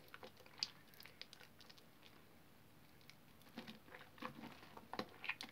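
Bare hands squeeze and knead a large mass of soaked, soft green soap paste in a blue plastic basin, the wet, foamy soap solid but mushy. Quiet, soft squelches and crackly, bright wet pops come in scattered bursts, sparse at first and busier toward the end.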